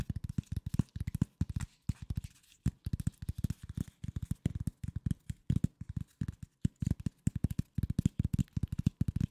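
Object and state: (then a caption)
Corrugated cardboard sheet. A flat piece of corrugated cardboard held close to the mic is scratched and tapped with nails and fingertips. Quick, dry taps come in rapid clusters with short pauses between them. The sound is mostly low, dull thuds with a faint papery scratch, and each tap dies almost instantly.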